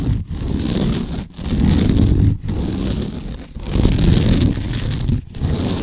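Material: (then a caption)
Sisal rope. Nails scratch and rub quickly over a large cylindrical cat scratching post wrapped in natural sisal rope. The result is a dense, low, fibrous rasping in long continuous strokes, broken by brief pauses between passes.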